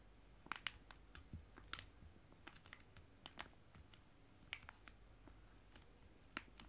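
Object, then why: Foil-laminated wet wipe sachets. Two joined, small, full foil-laminated wet wipe sachets are held in both hands and tapped with fingernails. The result is quiet, crisp, bright ticks and light crinkles at irregular intervals, each dying away almost instantly over a soft low background hiss.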